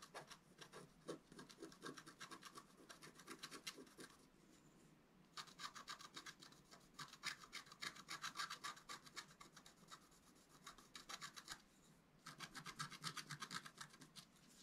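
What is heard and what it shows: A wooden stylus scratches near the top edge of a flat, wax-coated scratch-art paper card lying on a table. Quick, bright, rasping strokes come in rapid bursts of about four per second, with two short pauses between the bursts.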